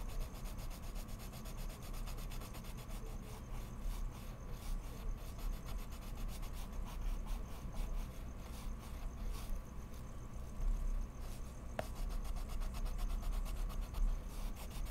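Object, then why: Colored pencil scratching on mixed media paper sheet. A colored pencil point scratches back and forth in steady strokes across a large, flat sheet of heavy mixed media paper lying on a wooden desk, while the other hand holds other pencils still. The result is a continuous, soft, dry rubbing and scratching texture that stays fairly even for the whole clip, with most of its weight in the low end.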